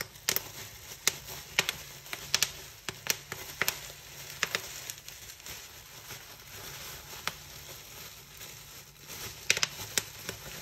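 Fingers pinch and pop individual air bubbles on a big sheet of clear plastic bubble wrap spread flat, giving about twenty sharp, bright snaps scattered unevenly over soft, continuous crinkling. The pops cluster early and near the end, with a stretch of mostly rustling in between.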